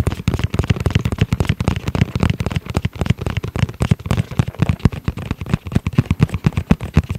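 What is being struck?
Hard-shell EVA zip pouch.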